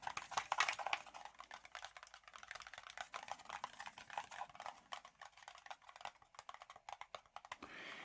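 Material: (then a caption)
Plastic. A Redragon K530 Draconic 60% RGB wireless mechanical keyboard has its compact case tapped in a rapid, uneven series of short, dry clicks, bright in the mid and upper range with no low boom and almost no ring. The case sounds full and solid rather than hollow, a solidity attributed to its internal 3000 mAh battery, with little flex or creaking.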